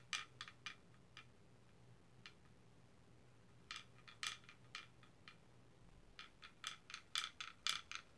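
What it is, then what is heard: Wooden pecking chickens toy. A small wooden pecking-chickens toy, with carved wooden chickens on a paddle with strings and a weight, is held by hand and swung so the solid wooden heads peck and clack on the board. Around nineteen quiet, bright, dry clacks come in irregular bursts, with a pause in the middle, and each dies away almost instantly. A faint low hum sits underneath.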